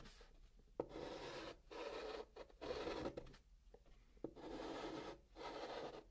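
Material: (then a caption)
Cardboard. Blue chalk scratches across the flat top of a brown kraft cardboard box as a hand draws triangles. Long, rough scraping strokes alternate with short pauses and sharp taps where the chalk meets the surface, giving a dry, mid-pitched rasp.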